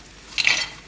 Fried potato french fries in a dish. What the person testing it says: छान असे खणखण आवाज येतो आहे छान असे कुरकुरीत झालेले आहे हे